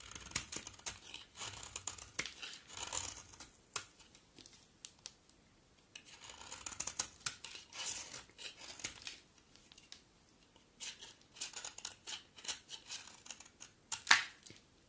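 A box cutter blade carves a solid coral-orange bar soap, and flaky shavings fall off. Crisp, bright scraping and crackling come in bursts separated by short quiet pauses, with a sharper, louder crack near the end.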